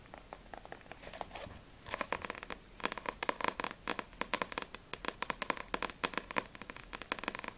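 Long nails tap and scratch the glossy card cover of a Blue Exorcist paperback manga. A faint, scratchy rustle builds into fast, uneven bursts of sharp, bright clicks that die away almost instantly, with a light ring near 1 kHz. The tapping grows busier after the first two seconds.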